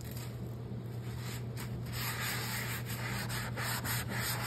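A hand scrubs the soapy surface of a large, round, black cast iron skillet with a loop handle, lying empty in a stainless sink, using a yellow scrubbing sponge in circular rubbing strokes. A continuous gritty, scratchy rubbing with bright, swishing bursts rises and falls over a steady low hum, growing slightly louder toward the end.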